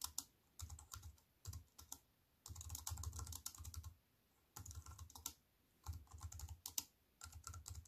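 A slim, compact wireless keyboard with a silver aluminium frame and black plastic keys sits on a wooden table, and long white-painted nails and fingertips type fast on it. Bursts of quick, dry clicks and taps with a bright top and a soft low thump come in several runs separated by short pauses, each tap ending almost instantly.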